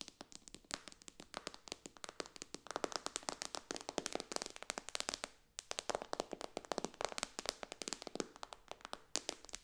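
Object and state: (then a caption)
Glass tablet touchscreen, tapped with nails. Long dark-painted nails of both hands tap quickly on the glass touchscreen of a white iPad lying flat on a pillow. A rapid stream of sharp, dry, bright clicks with almost no low end and no ring. The tapping pauses briefly around the middle before resuming at the same fast pace.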